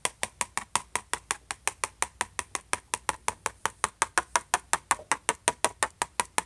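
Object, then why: Closed laptop lid tapped with a plastic pen tip. The tip of a plastic ballpoint pen taps and scratches the surface of a closed silver HP laptop lid. There are 36 short, sharp clicks with a bright edge and a ringing tone around 960 Hz, coming quickly at a slightly uneven pace with faint scratching between them. Each tap dies away almost instantly.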